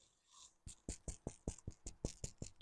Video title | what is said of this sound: EP.80 น้องโบ #บารมีพระเครื่อง พระบ้านราคาแบ่งปันมีบริการเก็บปลายทาง สนใจติดต่อ 0992107401 | ถ้าเคาะแล้วดังก๊อกแก๊กก๊อกแก๊กก๊อกแก๊กข้างในด้วย